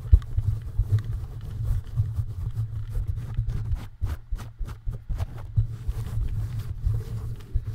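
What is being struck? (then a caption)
Perforated metal mesh microphone grille. Fingertips of both hands tap and scratch the perforated metal mesh grille of a bare, red-lit microphone on a stand. A dense, low rumbling thump dominates, broken by rapid soft taps with brief bright clicks that turn into a quicker, more distinct run in the middle before the rubbing resumes.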